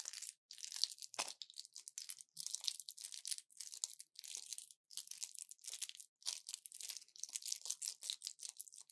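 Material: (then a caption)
Plastic, foil. An orange plastic pill blister pack with foil backing is gripped in both fists, then twisted and crushed. It gives dense bursts of crisp, bright crinkling and crackling with almost no low end, separated by brief silences. The sound is quiet and close.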